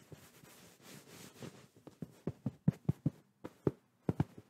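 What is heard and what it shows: Palms quickly pat and tap a medium soft white fabric pillow held against the microphone. A soft fabric rustle opens the clip, followed by eleven dull, low, muffled thumps that stop almost instantly, without ringing.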